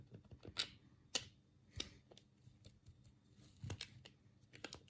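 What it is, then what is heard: Plastic game controller buttons clicking. Thumbs press and click the D-pad and buttons of a black, hollow plastic Sega control pad held in both hands. Short, dry, bright plastic clicks come at an uneven pace, with a few louder snaps early on and quieter taps after. Each click stops almost at once.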